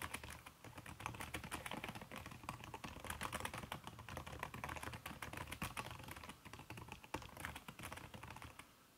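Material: Silicone.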